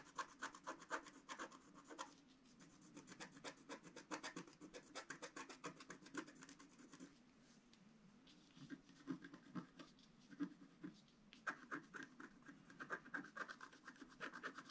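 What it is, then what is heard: Wax-coated scratch art paper. A wooden stylus scratches a flat black, wax-coated scratch art sheet, etching the antlers and a chimney into the picture. Quiet, rapid rasping strokes come in bursts with a dry, papery scratch centered around 1.2 kHz and a faint bright edge. The scratching eases into softer, sparser rubbing in the middle before quick strokes resume toward the end.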